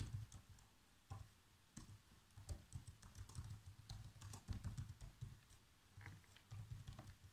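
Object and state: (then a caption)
Plastic laptop keyboard being typed on. Fingertips press the black plastic keys of a laptop keyboard in fast typing, giving about twenty short, dull tapping clicks that cluster in quick bursts. The taps are soft and low-toned, with a thumpy body, faint bright clicks on top and almost no ring.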